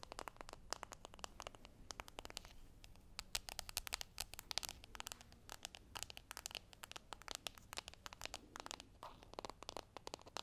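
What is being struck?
Small foil-printed cardboard box.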